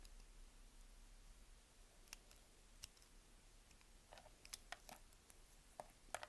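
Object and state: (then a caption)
Bar of soap being cut. A palm-sized, partly carved solid light-blue Dalan bar soap, held in one hand, is scraped and cut with a yellow utility knife blade, slicing it into small cubes, strips and slices. Quiet, scattered sharp clicks and crisp snaps ring out bright over a low, steady hiss, coming more often toward the end.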